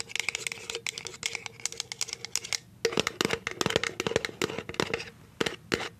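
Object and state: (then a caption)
Plastic jar tapped and scratched with nails. A clear plastic cashew jar with a plastic lid is tapped and scratched on its label with paper clip nails. Quick, bright clicks alternate with dry, scratchy rasps over a faint ringing tone near 450 Hz, with a short pause partway through before the tapping resumes.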